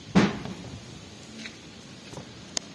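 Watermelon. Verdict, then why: Ripe. A hand knocks on a ripe watermelon, giving one loud, deep, hollow thud with a low resonant tone that dies away quickly. Two short, sharp taps follow near the end. The melon is judged ripe and fully red inside.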